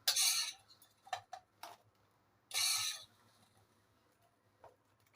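Garlic croutons are stirred and moved around in a pan, giving two longer bright, crackling rattles and several short, light ticks and clinks in between. The dry, crisp sound shows the croutons have become crispy.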